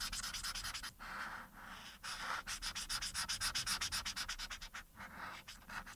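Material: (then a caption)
Paper. A marker's felt tip, held in the fingers, rubs quickly back and forth across a thin printed paper coloring sheet lying flat on a dark surface to colour in a face. The result is a run of bright, dry, scratchy strokes at about four per second, with brief pauses between bursts of strokes.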